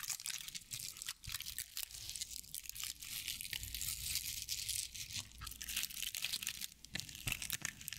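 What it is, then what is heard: Straw-covered owl figurine, dry fibres. A hand-sized decorative owl figurine covered in dry straw or sisal-like fibers is held in front of a fluffy microphone and scratched and rubbed with long painted nails. The result is a steady, bright stream of crinkly, crunchy scratching with rapid, short crackles and almost no low end.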